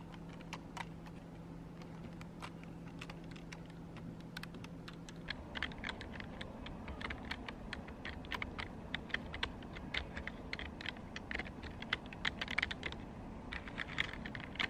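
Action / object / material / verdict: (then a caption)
tap / plastic computer keyboard / plastic / none. A black plastic desktop keyboard with hollow key caps is typed on and tapped by fingertips with long pink acrylic nails, making sharp, dry clicks. The clicks are sparse at first over a low steady hum that stops after about five seconds, then become faster and denser.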